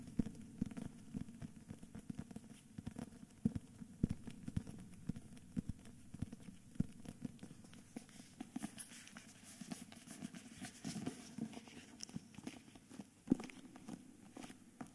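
Fingertips tap and scratch a thick hardcover book with a paper dust jacket held in the hands, first on the front cover and then on the plain back cover. A quick run of soft, dull, low taps is mixed with brighter papery scratching that grows busier midway, each sound stopping almost at once.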